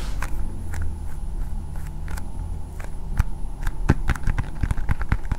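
Long painted nails tap a hand-sized hard blue plastic ball with a Spider-Man sticker. Short, sharp, irregular clicks grow quicker and denser toward the end, over a constant low rumble and a faint steady high tone.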